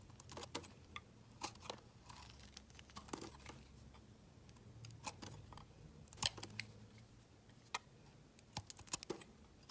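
A solid, hand-sized dark blue bar of soap is shaved and scraped with a utility knife blade, lifting off curls and chips. Quiet, bright scraping clicks and crisp, short cuts come in uneven bursts over a faint low hum, with the sharpest strokes around the middle and near the end.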